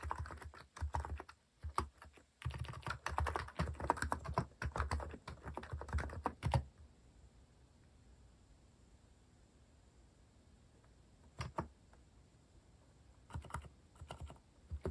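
Fingertips type rapidly on a compact white-case Hanmumu mechanical keyboard with cream and orange cat-themed plastic keycaps, resting on a wooden desk. A dense run of deep, muted key taps lasts about six and a half seconds and then stops. After a quiet pause, a few short bursts of taps follow near the end.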